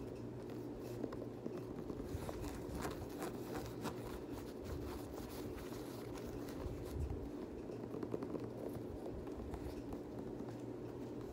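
Fingertips and nails scratch the grey and black knit upper and the ridged cream rubber sole of an empty Adidas Yeezy Boost 350 knit sneaker held in hand. The result is a quiet, steady scratchy rustle with soft, dull low thuds and occasional faint ticks.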